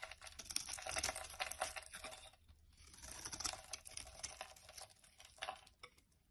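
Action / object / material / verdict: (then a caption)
scrape / bar of soap scraped with a knife blade / soap / none. A utility knife blade scrapes and shaves thin curls off a solid rectangular yellow bar of soap held in the palm. Bright, crackly scraping strokes come in dense bursts, pause briefly near the middle, then resume and taper off softly.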